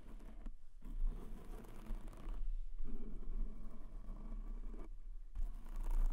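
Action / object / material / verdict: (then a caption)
tap / foam microphone windscreen / foam / none. Fingertips tap quickly on a white foam windscreen covering a black microphone, like typing. The result is a dense, muffled patter of soft, low thuds that stops briefly a few times before resuming.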